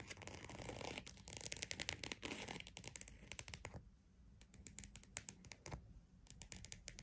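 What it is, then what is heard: Croc-textured purse. A croc-embossed purse is scratched and tapped. Dense, bright, rasping scratches fill the first few seconds, then give way to quieter stretches broken by quick, sharp taps with almost no ring.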